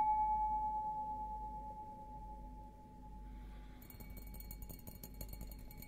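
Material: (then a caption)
Glass. An empty, hollow stemmed glass beer goblet with a green logo is held upside down while fingertips and nails tap its bowl. A clear ring near 860 Hz slowly fades and wavers at first, then quick, light taps with bright clicky edges follow and keep the glass ringing softly.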